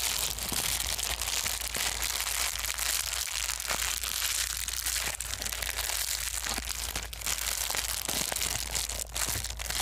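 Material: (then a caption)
Plastic foam. A small white foam bubble wrap sheet, made of plastic, is held in both hands and crumpled and squeezed with the fingers. It makes a steady, dense, bright crinkling and crackling with sharper crunches scattered throughout. A faint low hum runs underneath.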